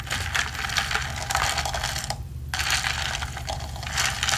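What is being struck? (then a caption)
Plastic tumbler with ridged plastic straw. A ridged plastic straw, held by the fingertips, is slid up and down through the lid of a hollow, medium blue plastic tumbler with a textured wall, rubbing against the opening. This makes a dense, bright ratcheting scrape of rapid clicks over a steady low hum, with a brief pause partway through before the rubbing resumes.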